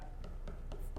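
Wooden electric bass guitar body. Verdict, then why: Solid. Repeated light taps on the wooden body of a Fender Blu DeTiger x Player Plus Jazz Bass, struck at a spot that is not routed. The taps come out quiet and dull, with mostly low-frequency body. That spot sounds solid, unlike the hollowed-out areas machined to keep the weight down.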